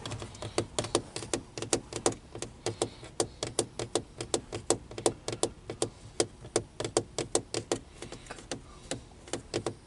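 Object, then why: Plastic car dashboard air vents. Fingertips tap and scratch around the slatted louvres of a black plastic centre dash air vent panel in a car. The result is a rapid, uneven run of short, sharp plastic clicks and taps that die away almost instantly, with faint scratching between them.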